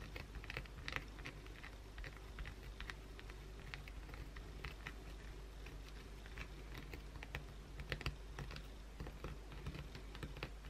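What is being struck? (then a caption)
Bar of soap scratched with acrylic nails. Long pointed blue acrylic nails scratch aggressively across the face of a solid white oval bar of soap held in the hand. The result is a quiet, continuous run of quick, crisp, bright scratches and clicking taps over a steady low hum.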